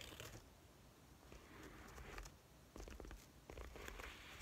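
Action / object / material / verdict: tap / quilted faux leather wallet / faux leather / none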